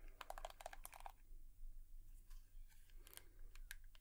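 Long nails tap on a hairbrush in a series of quick, light, clicky taps that cluster in the first second, then slow to scattered bright ticks over a steady low hum. Each tap is dry and short, with almost no ring.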